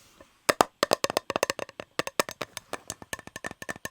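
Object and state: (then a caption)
Metal cake tin. Fingers tap on a shiny, unopened metal Fortnum & Mason fruit cake tin with the cake still inside and sticky tape on its rim, which adds to the tapping sound. A rapid, uneven series of short, dry, hollow clicks with a mid-pitched tone and almost no ring follows, some taps louder and brighter than others.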